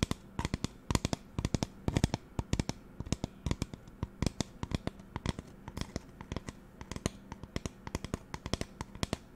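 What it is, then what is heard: Plastic spray bottle. Long nails tap and scratch the sides of a hollow magenta plastic spray bottle with a white trigger head. The result is a rapid, uneven run of dozens of short, dry clicks with hollow low thumps and bright ticks, over a faint steady low hum.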